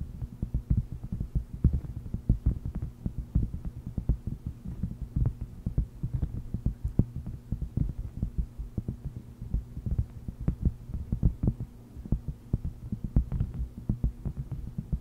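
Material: Silicone.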